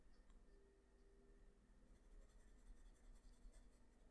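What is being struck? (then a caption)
Graphite pencil on a paper sheet. A graphite pencil held in the fingers scratches short hatching strokes on a flat sheet of white drawing paper, shading near the face and hair of a drawing. The faint, soft scratching sits over a steady low hum, with brighter small ticks growing more frequent in the second half.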